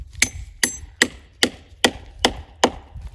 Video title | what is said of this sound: Manitoba Maple Syrup Festival - 2021 | we just tap it in lightly to get it tight you can hear the sound changing